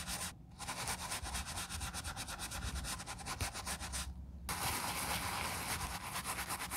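A gloved hand scrubs an empty black quilted leather ballet flat covered in soap foam with a wooden-handled bristle brush. Quick, rhythmic bristle strokes make a dense, bright scratching hiss with a low rumble beneath. Two short pauses break the brushing near the start and after four seconds.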